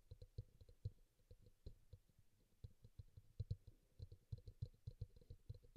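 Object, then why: Plastic bowl. Fingertips and nails tap and click on the side and rim of a small, glossy teal bowl, likely plastic, that sits hollow and upside down on a towel beside an untouched pink bowl. The quiet, rapid taps are dull and low, with faint bright clicks on top, and each one stops almost instantly with no ring.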